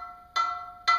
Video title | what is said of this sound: cast iron indepth | the higher pitch the ring the denser the steel